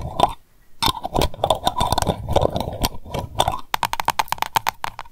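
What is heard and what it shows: Long acrylic nails rapidly tap and scratch the tin lid and glass sides of a small lavender candle jar filled with wax, held in the hands. Quick, bright clicks with a short ringing tone mix with scratchy rustle. After a brief pause near the start, a crisper burst of fast, evenly spaced taps closes the clip.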